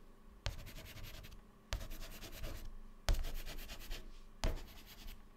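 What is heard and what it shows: Fingertips hold white chalk and scribble rapid zigzags inside grid cells on a black chalkboard panel. Four scratching, rubbing bursts each start with a sharp tap and then a dense, bright rasp lasting about a second, separated by brief quiet gaps.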